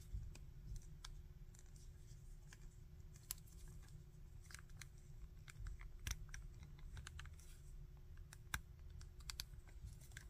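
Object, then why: Hard-plastic articulated action figure. Fingers bend the arms and legs of a small, hard-plastic articulated Bardock action figure at its ratchet joints, producing a rapid string of sharp, bright clicks. The clicks are short and dry, set over a steady low rumble and a faint constant hum.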